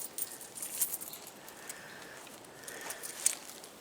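Loose metal coins are shaken in a pocket, making a quiet, bright jingling rattle with several sharper clinks scattered through the clip. The rattling is the kind of noise that gives away your position when you are trying to stay hidden.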